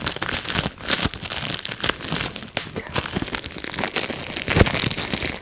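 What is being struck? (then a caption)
Plastic bubble wrap sheet. A clear plastic bubble wrap sheet is pinched by fingertips, popping bubbles one after another. Sharp, bright snaps come between steady crinkling and rustling of the plastic, with the pops too dense to count cleanly.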